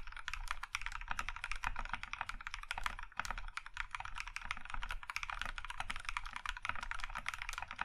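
A compact Iron 165 mechanical keyboard with a plum-red aluminum case and white KAT keycaps is typed on with the fingertips of both hands. A steady, rapid stream of short, crisp key taps is heard, each clacking around 1.2 kHz with a soft low thump underneath. The taps die away almost instantly.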